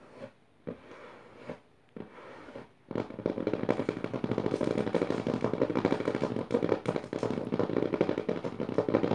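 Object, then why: Paper notebook pages. Long nails scratch and tap on the dotted paper pages of an open notebook. A few separate scratchy strokes with short pauses come first, then after about three seconds the tapping and scratching turns fast and dense, a steady papery crackle centered around 500 Hz that runs to the end.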